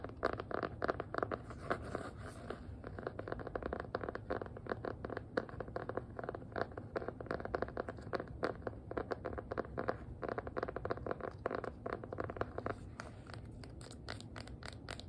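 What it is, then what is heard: Hardcover notebook scratched with nails. Long nails scratch across the faux-leather cover and edges of a small, solid black hardcover notebook. A dense stream of quick, dry scratches and light taps runs steadily throughout, with a soft, muted tone.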